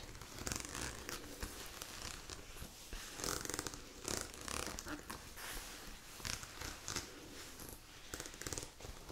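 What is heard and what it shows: A glossy black The North Face nylon down puffer jacket, soft and padded, is held up and scratched and rubbed with long acrylic nails. The result is a steady crinkly, swishing fabric sound with bright hissy scratch bursts.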